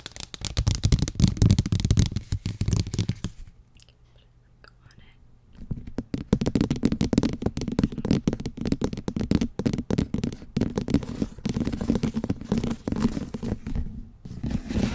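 Long nails scratch across a large, thin, flat pink plastic tray lid with a perforated, textured pattern, held upright. The dense, rough scratching runs for about three and a half seconds, drops away to near silence for roughly two seconds, then resumes steadily until the end, with most of its energy in the low frequencies.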